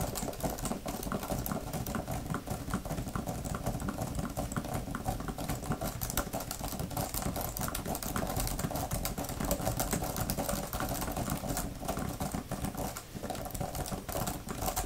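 Long-nailed fingers type and tap quickly on a thin grey plastic laptop keyboard cover with flat plastic keys. The result is a dense, steady stream of short clicks and taps over a low background hum, with a brief dip near the end.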